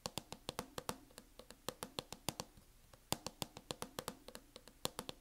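Long acrylic nails on both hands tap fast across the mint matte plastic hard-shell case of a closed laptop. Sharp, bright clicks with a hollow plastic knock repeat in quick, uneven bursts, with a brief pause in the middle.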